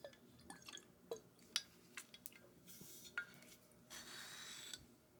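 A glass bottle of Macallan 12-year single malt scotch is tapped and scratched. Sharp, bright clinks with very short ring are spread through the clip, between stretches of airy, high scratching hiss. Some of the taps have a faint, liquid, drip-like quality.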